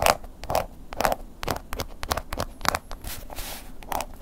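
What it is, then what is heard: Embossed leather wallet scratched. The tip of a wooden ear pick scratches along the textured surface of a black woven-embossed leather long wallet lying flat. The result is a quick series of dry, crackly scratching strokes with a bright hiss and a slight mid-range tone around 600 Hz, each stroke stopping short with almost no ring.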